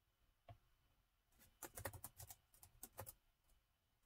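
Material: Plastic.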